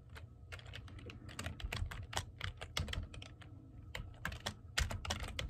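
Fingertips of hands with rings and painted medium-length nails type on the plastic keys of a black plastic computer keyboard. Quick, irregular key clicks with bright snaps die away almost at once, over a steady low hum.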